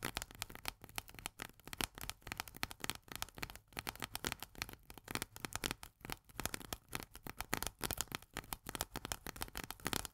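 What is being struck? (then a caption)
Steel food can lid. Long nails tap and scratch fast on the steel pull-tab lid of a small, full corn can. The result is a dense, steady run of sharp, bright metallic clicks with very short ring, mixed with dry scratching, lasting about ten seconds.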